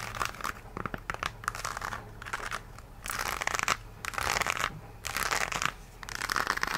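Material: Rubber.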